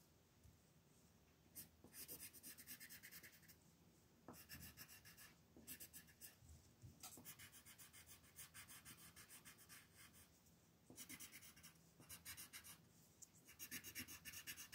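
A yellow colored pencil is rubbed in short shading strokes over a flat paper mandala coloring sheet lying on a table. Quick bursts of dry, bright scratching come and go, with brief quieter pauses between them.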